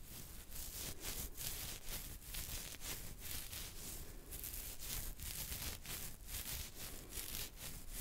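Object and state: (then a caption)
Beard hair being scratched. Fingertips and nails of one hand scratch a full, soft, dark beard on a man's chin and neck near the jaw, close to the microphone. A steady, bright, crackly rustle comes in quick, repeated strokes over a low rumble.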